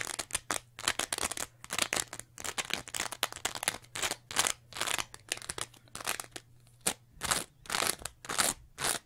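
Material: Foam.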